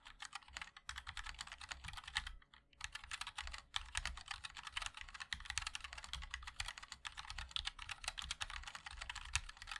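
A 60% MOD-L mechanical keyboard with a black aluminium case, white and black ABS plastic keycaps and linear switches is typed on continuously by the fingertips of both hands. Quick, bright clacks with a low thock beneath them run steadily, pausing briefly around two and a half seconds before resuming.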